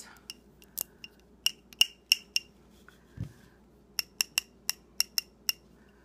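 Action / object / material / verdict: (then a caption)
tap / glass candle jar filled with wax / glass / none. Long dark-painted nails tap and scratch a small glass tumbler-style candle jar, filled with solid pink wax and a lit flame, held in both hands. Crisp, bright clicks with a short glassy ring near 2.8 kHz fall in an uneven rhythm, with a soft low thump midway through and a faint low hum underneath.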